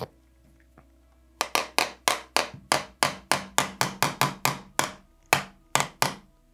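After a quiet start with two faint knocks, the back of a Begadi BSR spring airsoft rifle's plastic-composite stock is tapped 17 times in quick, sharp, dry knocks with short ring. The stock sounds solid, as if full of material even though it is not, with no hollow cavity heard, showing its very solid build.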